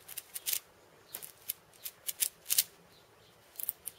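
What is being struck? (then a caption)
Cabasa with steel bead chain and wooden body. Fingertips tap and scratch the steel beads and wooden rim of a hand-sized steel bead cabasa, a hollow wooden cylinder wrapped in loops of steel ball chain. Quiet, bright, crisp ticks and short scratchy rattles come in irregular bursts with very brief decay and almost no low end.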